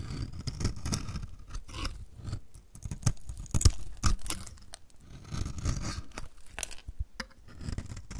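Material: Soap.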